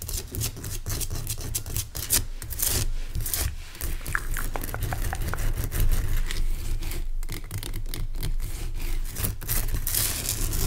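Fingernails scratch and rub across the rough surface of a large, pale, solid rock salt crystal lamp. A steady, close scraping texture runs throughout, heavy in low rumble, with many short, bright scratchy clicks and no ringing after each stroke.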